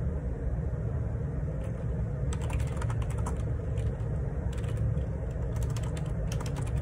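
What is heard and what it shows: Fingertips type on a black plastic Perixx Periboard 612 wireless Bluetooth dual ergonomic split keyboard, with a hollow housing and plastic keycaps, resting on a desk. Repeated soft key taps come through as brief bright clicks over a steady, dominant low rumble that keeps the overall level nearly constant.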